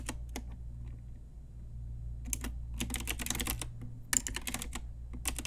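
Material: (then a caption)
Plastic. A pink Ajazz retro typewriter-style mechanical keyboard with round plastic keycaps is typed on with long nails and fingertips. A few sparse clicks give way to dense bursts of bright, sharp plastic key clacks with no ring, over a steady low hum.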